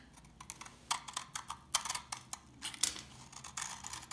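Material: Soap.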